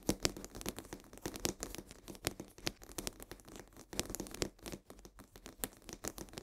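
Long nails rapidly tap and scratch the sides of a full cardboard box of coarse salt held upright. Quick, dry clicks and scratchy rasps with bright edges fill the clip at a soft level, each dying away almost instantly with a faint papery rattle.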